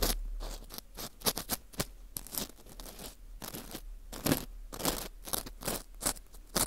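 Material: Wheat gluten.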